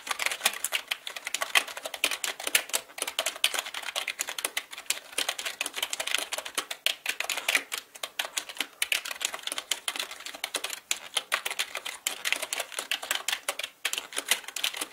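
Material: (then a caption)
Plastic. Fingertips type on a black mechanical computer keyboard with plastic keycaps. A dense, steady stream of sharp, bright clicks and clacks with almost no low end, each stroke dying away quickly.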